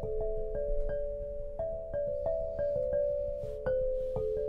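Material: Granite.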